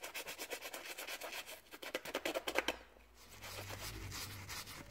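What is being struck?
Rubber sneaker outsole.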